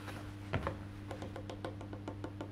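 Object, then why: Solid wood electric bass guitar body and maple neck. Fingertips tap and drum on the black-painted solid wood back of an Ibanez electric bass lying face down, while the other hand holds its maple neck. About a dozen soft, short knocks sound, the first two loudest, over a steady low hum. Each knock dies away quickly with little ring.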